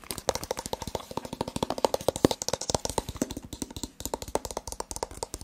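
A rigid white cardboard smartphone box with a printed front is tapped rapidly with the fingertips and nails. About forty quick, dry taps follow one another closely, each a short hollow knock with a brief bright click and almost no ring.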